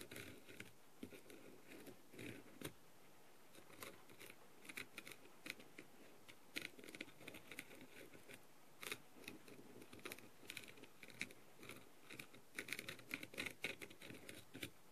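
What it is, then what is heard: Rhinestone-covered plastic mask. A clear plastic-tipped light-up tool rapidly taps and scratches the rhinestones on a blue, plastic, rhinestone-covered masquerade mask. The result is a quiet, steady stream of crisp, bright clicks and scratchy ticks that stop almost instantly, with a sharp focus around 2.2 kHz over a soft, low rustle.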